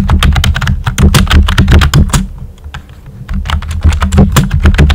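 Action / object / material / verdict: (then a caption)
tap / plastic computer keyboard with round keycaps / plastic / none. Fingertips with short nails type on a pink and white plastic computer keyboard with round, typewriter-style hollow keycaps. Rapid, uneven clacky keystrokes carry a deep hollow thud, with bright tick edges. The typing thins to a few soft taps midway, then picks back up at full pace.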